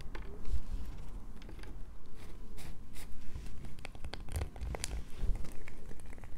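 A solid light-blue bar of soap, held in both hands, is scratched with long nails. The result is a steady stream of dry, crackling scrapes with sharp bright clicks over a low muffled rumble.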